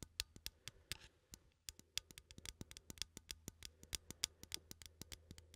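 A small cylindrical metal coffee tin, held in one hand, has its lid and side tapped and scratched with fingernails. About 33 quick, bright, dry taps follow one another at an irregular pace, with soft scratching between them. Each tap dies away almost instantly over a faint low hum.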